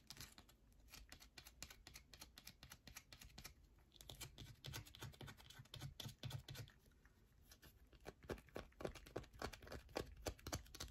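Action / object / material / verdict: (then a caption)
scrape / bar of soap / soap / none. A solid yellow bar of soap is scratched quickly with long nails, scraping off flakes. Rapid, uneven dry scratches and sharp ticking taps run throughout, with a duller, heavier patch in the middle and crisper, louder clicks toward the end.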